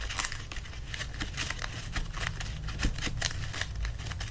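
Hands press and rub the paper pages of an open paperback book while lifting pages upright. Dry, crinkly rustling and scratching comes in quick bright bursts over a steady low rumble, each burst fading almost at once.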